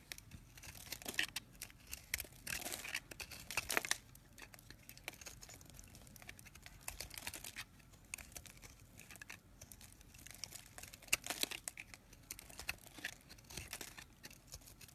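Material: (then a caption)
Soap. A hand-held, solid white soap bar with red bits is scraped and cut with a dark knife blade, and crumbly shavings fall onto a pile of soap flakes below. Dense, bright crackling and crisp crumbling textures run throughout, with louder bursts of scraping near the start and again toward the end.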